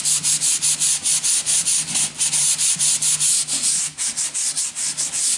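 A yellow sanding sponge held in the hand is rubbed back and forth along the edge of a long, thin, solid wooden plank held at an angle. It makes a steady rhythm of bright, hissy scratching strokes, each quick pass swelling and fading into the next. Beneath the strokes there is a faint low hum.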